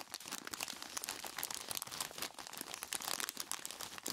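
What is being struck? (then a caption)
Plastic bag holding ice cubes. A large clear plastic bag full of ice cubes is squeezed by hands in knobbly rubber monster gloves. Dense, bright crinkling of the plastic mixes with sharp crunches of shifting ice, continuing steadily with almost no low end.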